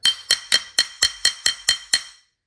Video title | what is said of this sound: Jade Hunting, Identifying Jade (The Learning Process) | I can hit it hard with a rock and it doesn't break it is tough